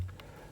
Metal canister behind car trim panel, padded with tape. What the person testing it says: you get a nice solid thud instead of a rattle